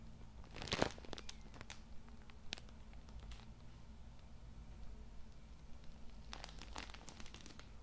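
A full Cool Mint tissue multipack wrapped in plastic film is held in one hand beside the mic while fingers rub and squeeze the plastic to crinkle it. Bright, crackly bursts of crinkling come in clusters near the start, briefly in the middle, and again toward the end, over a steady low hum.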